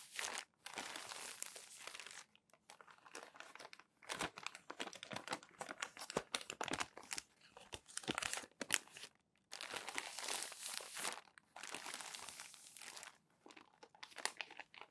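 Crumpled glossy magazine pages are rubbed flat under the palms and turned by the fingers. Long stretches of bright, hissy crinkling from the smoothing alternate with quick, sharp paper crackles and snaps from handling and page turns, with brief silent gaps between them. There is almost no low end, and the sound is dry and close.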